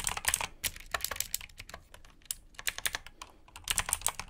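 Fingertips type rapidly on a black mechanical keyboard with blue switches and plastic keycaps. Sharp, bright clicks come in quick bursts with almost no ring or low end, easing off briefly around the middle before picking up again.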